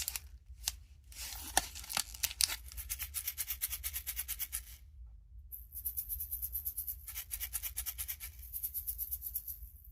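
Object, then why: Plastic capsule ball with small plastic food pieces inside. A Miniverse plastic capsule ball holding miniature pickle pieces is shaken before opening. It gives bright, high-pitched rattling in quick uneven bursts, with a short pause near the middle. The rattle is normal for this capsule, and it is what identifies the pickles inside.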